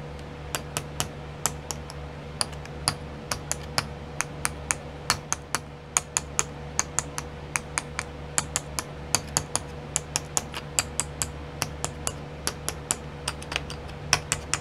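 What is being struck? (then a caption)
Small clear plastic pots with sequins. Long nails tap quickly on the lids of twelve small clear plastic pots filled with sequins, set in a pink tray, making about fifty sharp, bright clicks that stop almost instantly. A steady low hum and a faint constant tone near 500 Hz sit underneath the taps throughout.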